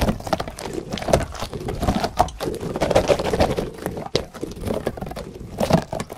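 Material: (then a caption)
Rubber. A yellow, hand-sized, soft rubber caterpillar toy with spikes is squeezed, stretched and rubbed by the fingers of both hands close to a microphone. A fast, dense stream of soft squishes, rubbery squeaks around 670 Hz and dull low thumps runs throughout, with short dry bursts and little high treble.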